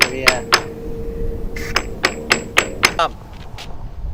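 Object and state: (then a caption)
Hollow delaminated concrete bridge deck. A steel-shaft claw hammer taps across a concrete bridge deck with a polymer concrete overlay, sounding it to map the delamination before epoxy injection. About ten sharp, bright strikes come at an uneven pace, each with a short hollow ring around 640 Hz. The deck sounds hollow and delaminated over this area.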